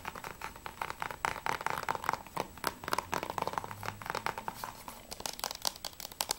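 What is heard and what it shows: Fingertips and nails rapidly tap and scratch the front cover and spine of a thin, hollow, hard plastic Assassin's Creed III PS3 Blu-ray case with a clear plastic sleeve, holding a disc. The result is a quick, uneven stream of dry, clicky taps mixed with scratchy rasps, centered around 900 Hz with bright high edges. Each tap stops instantly with no ring.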